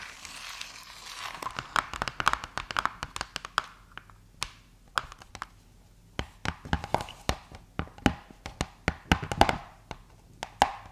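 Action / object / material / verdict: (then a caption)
tap / thin printed cardboard card / cardboard / none. Long acrylic nails on both hands tap and drum across a flat, thin printed paperboard backing card from a Play Foam package lying on a stone countertop, with foam domes near the edges left untouched. The result is dozens of sharp, dry clicks and taps with a papery snap around 800 Hz and a bright edge, each dying out almost instantly, over a faint crinkly rustle that fades after the first few seconds.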